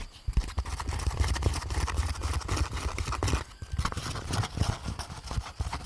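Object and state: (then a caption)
Molded paper pulp egg carton. An empty, hollow, lightweight grey-beige molded paper pulp egg carton, held up in both hands close to the mic, is tapped and scratched with long painted nails across its cup bumps. The result is a steady stream of quick, dull, hollow taps with a deep, low-heavy thump and a light scratchy rustle, briefly easing around the middle before picking up again.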